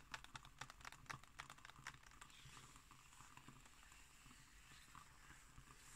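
Long nails tap and scratch on the illustrated left-hand page of an open magazine with glossy pages. Quick, irregular, crisp clicks come first, then give way to a steady, soft, bright papery scratching that runs to the end.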